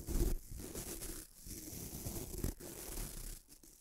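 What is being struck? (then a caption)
Bamboo toothbrush with nylon bristles. Fingertips rub the white nylon bristles of a small bamboo toothbrush, making a close, dense scratching and rubbing sound. It comes in a few long, steady strokes with short pauses between them. The sound is mostly low and muffled, with a faint bright hiss over the top.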